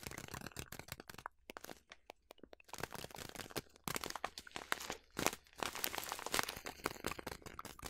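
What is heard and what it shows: A large yellow plastic bag of quick oats, partly full, is crinkled and squeezed by fingers with long nails. Dense, crisp crackles and crunches fill the clip, bright and sharp with little low end. The sound thins to scattered clicks for a moment early on before returning in louder, busier bursts.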